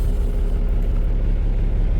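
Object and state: Nothing is struck.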